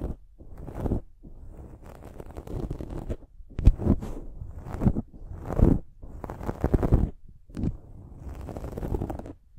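Long nails scratch a dark foam windscreen on a silver microphone. The result is a series of low, rumbling, crunchy scratching bursts separated by brief pauses.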